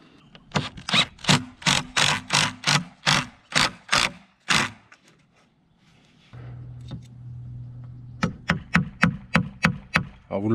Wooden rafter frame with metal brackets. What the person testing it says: il n'y a que trois équerres qui tiennent, et ça sonne déjà bien le truc